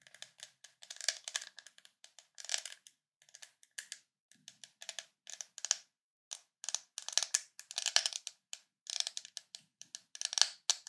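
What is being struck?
Ridged plastic screw lid on a glass jar.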